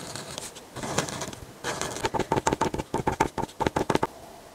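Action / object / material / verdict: scrape / paper page with marker tip / paper / none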